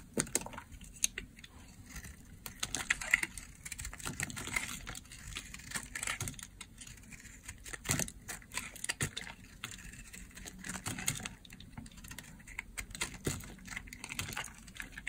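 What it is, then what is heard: Dry bar soap being shaved. A blade shaves and scrapes the surface of a dry, oval, purple solid bar of soap. The clip is a dense run of short, dry, crunchy scraping clicks with bright, crisp highs over a low rumble.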